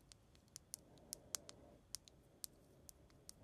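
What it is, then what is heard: Glass dome pendant tapped with a fingernail. A long acrylic nail taps the clear glass face of a small, solid, round glass dome pendant with a pink flower inside, hanging on a chain from the other hand. Twelve sharp, bright clicks land at an uneven pace over a faint hiss, each stopping at once with no ring.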